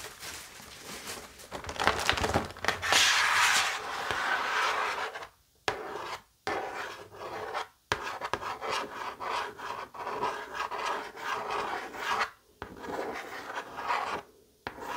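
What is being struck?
Cardboard chocolate box lid.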